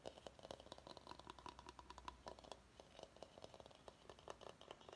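Fingertips and short nails tap quickly on the outer side of a large, hollow, empty bamboo salad bowl held upside down. The result is a rapid, uneven stream of light, dry knocks and clicks with very short decay, some carrying a faint hollow tone around 1 kHz, over a quiet low hum.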